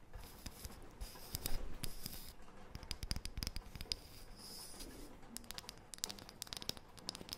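Long painted fingernails scratch and tap across the face and edge of a thin, round, light wooden disc. Quick, dry clicks and taps with almost no ring are mixed with soft, bright scratching and rustling against a low, quiet background. Brief bursts of denser scratching come and go throughout.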